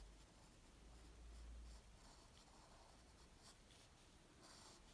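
A graphite pencil tip scratches lines across a flat white paper sheet resting on a wooden table while drawing. Quiet, dry scratching strokes come in irregular bursts of bright hiss over a steady low hum that swells briefly near the start.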